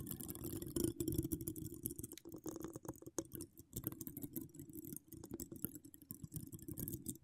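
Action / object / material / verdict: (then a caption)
scrape / metal mesh microphone grille / metal mesh / none. Long decorated acrylic nails scratch and tap around a hollow, dome-shaped metal mesh microphone grille with no cover, recorded close up. The result is a dense, irregular stream of soft scraping and quick tapping, heavy in the low range with a faint resonant tone around 330 Hz. The short taps die away almost instantly.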